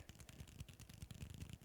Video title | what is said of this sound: What Is Stimming? | marble can really roll around and then i shake it and listen to the sound it does